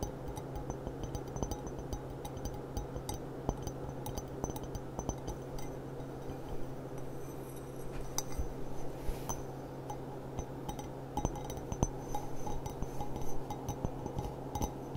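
Long dark nails tap and clink on the bowl of a clear, empty, stemmed glass goblet with a gilt rim. Many quick, short, bright clinks ring out over a steady low hum.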